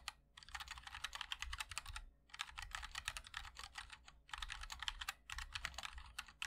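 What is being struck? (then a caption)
Mechanical keyboard, plastic keycaps, aluminium case. Fingertips of both hands type continuously on a MOD-L 60% mechanical keyboard with linear switches, a black aluminum case and white and black ABS keycaps. Rapid, bright clacking keystrokes come in three long bursts with short pauses between them. Each click is crisp and dies away almost instantly, over a faint low hum.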